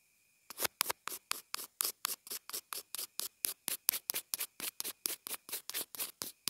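A pencil tip scratches and taps on the housing of a small white plastic inline earphone remote/mic. After about half a second of silence come 28 separate, quick, dry scratchy bursts at a steady rapid pace, each bright and high with almost no low end. A faint steady tone sits underneath throughout.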